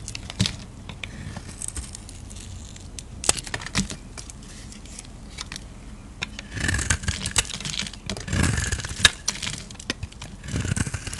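A utility-knife blade carves and scrapes a solid light-blue soap bar held in the hand, taking off thin shavings. Soft, steady scraping is dotted with sharp clicks and crackles that reach up bright. Louder, fuller scraping strokes come in bursts toward the second half and at the end.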